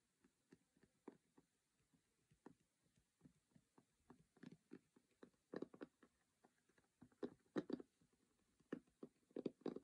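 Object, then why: Cardboard game box lid. Fingertips and short nails tap and scratch the lid of a closed square cardboard Monopoly board-game box, its white lid printed with a red logo, lying on a cork surface. Many quiet, short, dry taps and scrapes sit mostly in the low-mid range and die away instantly. They start sparse and grow denser and louder toward the end.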